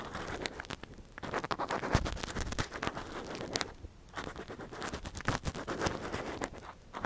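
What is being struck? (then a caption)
Metal earpick on a silicone ear model. A metal earpick held in a gloved hand scrapes and scratches inside the ear canal of a soft silicone ear model. The result is a close, dense run of crackling, scratchy strokes with a dull low body. Brief quieter gaps fall around one second, four seconds and near the end.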